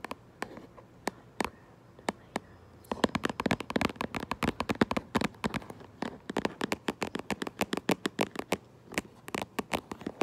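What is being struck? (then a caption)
Cardboard box. Long acrylic nails tap and scratch across the front of a cardboard Minecraft Lego box. Sparse, sharp, bright clicks in the first three seconds give way to rapid, dense tapping with a faint scratchy rustle underneath. Each tap is dry and short with almost no ring.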